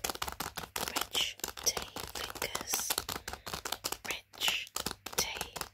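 A hand presses and crinkles a long Rich Tea Fingers biscuit packet made of crinkly plastic film, full of biscuits, resting on carpet. Dense, bright crackling comes in rapid short bursts with almost no low end, and each crackle cuts off quickly with no ring.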